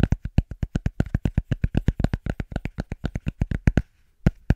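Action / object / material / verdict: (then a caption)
tap / cork surface / cork / none. Fast, rhythmic tapping on a cork object produces a quick run of short, dull, low thuds. The taps come several per second for about four seconds, followed by a brief pause and a few last taps.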